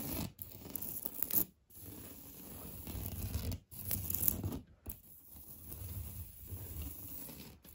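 Painted fingernails scratch hard across a solid, beige, knockdown-textured painted drywall interior wall. Rough, low, grainy scraping strokes run in long passes separated by brief silent breaks, with a faint steady high-pitched tone underneath throughout.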